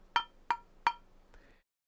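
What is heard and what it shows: An old metal frying pan is struck three times on its back with a wooden kitchen spatula. Each hit gives a short, hollow clank with a ringing tone near 950 Hz that fades quickly. A softer, duller knock follows at the end.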